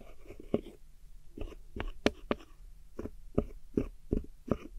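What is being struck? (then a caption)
Pressed powder eyeshadow pan in a plastic palette. A metal hook tool scratches and digs into a silver pressed powder eyeshadow pan in a small square black plastic palette, breaking it up. Nine short, dry, crumbling scrapes come at an uneven pace over a low, steady hum.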